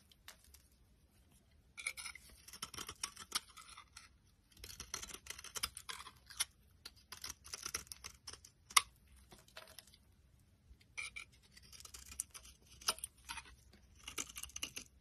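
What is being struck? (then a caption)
Bar of soap cut with a metal blade. A metal utility blade carves a solid, dry green bar of soap, giving off bursts of bright, crisp scraping and shaving. Clusters of rapid, sharp scrapes alternate with short quiet pauses, and the whole clip stays soft and close.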